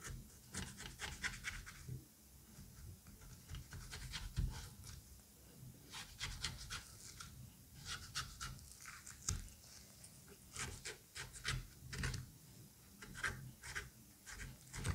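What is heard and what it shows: The tip of a scalpel scratches along the flesh of a halved butternut squash, around its fibrous seed cavity. Quiet, bright, rasping scrape strokes come in short repeated bursts over a low, steady rumble.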